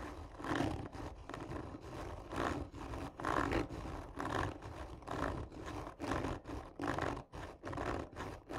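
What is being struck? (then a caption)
Cardboard tube. Long nails of both hands scratch hard and slowly across the top of a hollow, textured cardboard tube lying on its side. Rough, rasping strokes come about once a second in an uneven rhythm, each with a low, growling hollow resonance. No voice is heard.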